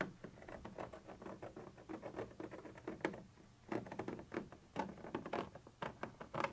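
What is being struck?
Textured plastic surface tapped and scratched with a metal tip.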